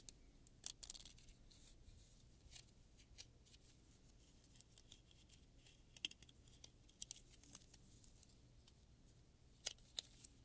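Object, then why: Plastic afro pick comb. A solid blue plastic afro pick with long, wide-spaced teeth is held in one hand while fingertips and long nails pluck and strum along the teeth. The result is a scatter of short, sharp, bright ticks and brief plastic rasps over a faint low hum. The ticks cluster near the start and come in small bursts later.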